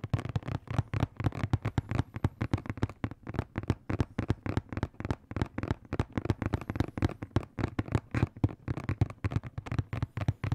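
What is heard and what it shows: A hollow blue and black printed cardboard box is tapped and scratched with fingertips and nails close to the microphone. A fast, steady stream of dry, hollow taps with a low, boomy body and almost no ring is heard, with faint scratchy texture between hits throughout.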